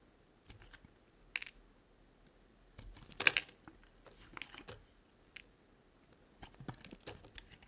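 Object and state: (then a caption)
Bar soap being shaved. A solid yellow and white striped bar of dry soap, held in the hand, is sliced into curls with a small metal blade. Quiet, crisp scraping and crunching strokes come in short, bright bursts with almost no low end, separated by near silence.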